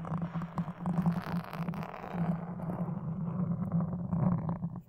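Wooden toothpicks held in the fingers scratch across a black foam windscreen on a red microphone. The close, continuous crackling scrape sits over a steady low hum near 180 Hz, rising and falling in intensity and dipping briefly near the end.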